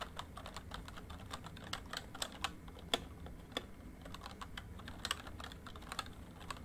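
Fingertips of both hands type on a full-size plastic MSI membrane keyboard with a rainbow backlight, making about 30 quick, dry key taps. The clicks are short and bright with almost no ring, over a low background hum.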